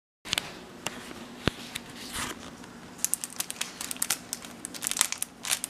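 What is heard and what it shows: A flat, unpopped paper microwave popcorn bag in a clear plastic cellophane wrapper lies on a stovetop while fingertips press and crinkle it, then lift and handle the wrapper. Bright, crisp crinkling of the plastic film is heard, with a rapid series of sharp crackles that grow denser toward the end.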